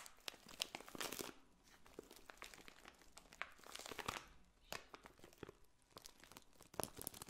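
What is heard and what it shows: A clear cellophane bag of dried pink and red potpourri petals is held up and scratched and squeezed with long painted nails. Quiet, bright crinkling and crunching comes in dense, irregular bursts, with sharp crackles rising above softer rustling throughout.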